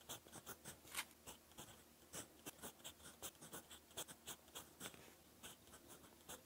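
A gold fountain pen nib scratches across a lined cream paper notebook page while writing, in short, close, dry strokes. The scratching is bright and hissy, with quick stroke bursts rising from a faint steady background.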